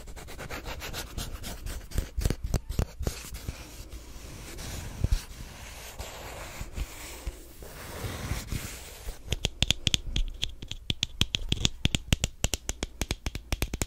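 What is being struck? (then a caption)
Plastic squeeze tube. A small white plastic squeeze tube of lotion is held close to the microphone and rubbed and scratched with the fingernails. Fast, crisp scratching clicks open the clip, soften into a quieter stretch of rubbing in the middle, then return as sharper, brighter ticks toward the end. A steady low hum sits underneath throughout.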